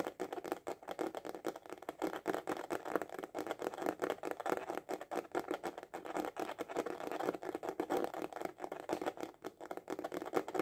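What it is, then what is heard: Hard-shell glasses case tapped with fingertips. A small, hollow hard-shell glasses case with a printed cover is held upright and tapped fast with the fingertips and short nails. The result is a steady, rapid patter of dry, hollow clicks and light scratchy taps that die away almost instantly. The sound is centered in the midrange, with little low end and only a faint bright edge.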